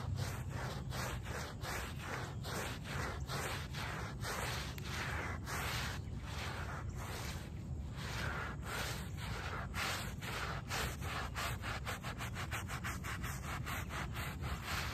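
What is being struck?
Shag-pile textile doormat.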